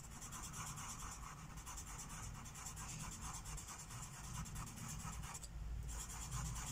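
A teal felt-tip marker rubs short, quick strokes over a thin white coloring book page resting on a wooden table. The sound is a continuous, steady scratching and rubbing with a bright, hissy texture that pulses with each stroke over a soft low rumble, briefly thinning out near the end before resuming.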